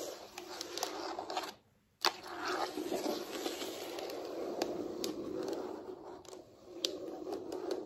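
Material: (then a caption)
Wood or laminate. Very long pointed acrylic nails tap and scratch across a large, solid wood-look floor, possibly laminate, with the hands resting on it. A steady dry, scratchy rasp runs throughout, broken by sharp bright clicks. It drops to near silence for a moment before a loud tap starts the scratching again.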